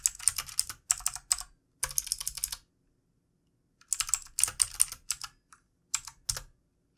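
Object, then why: Plastic computer keyboard. Fingertips of both hands type on the keys of a backlit plastic computer keyboard, producing quick bursts of bright, clicky taps. The bursts are separated by short pauses, including a longer silence in the middle. Each tap is crisp and dies away almost instantly.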